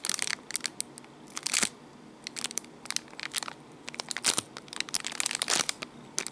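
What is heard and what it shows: Fingertips and nails press, rub and crinkle a small clear plastic bag wrapped around a black cable bundle. The result is bright, crackly plastic crinkling in irregular bursts, with sharp high-pitched snaps and very little low end.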